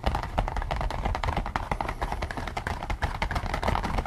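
Fingertips and nails scratch and tap across the top and ears of a pink latex rubber pig-head mask worn over someone's head, so the hollow mask is filled by the wearer's head. A rapid, irregular run of short, dull, rubbery taps and scrapes, weighted low and thumpy with little brightness. Each tap dies away almost at once.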